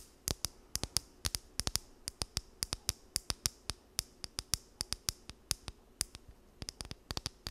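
A small, solid blue plastic wide-tooth comb is held in both hands while long nails strum and scratch across its teeth. About forty sharp, bright clicks snap out in an uneven rhythm, each dying away almost instantly over a quiet background.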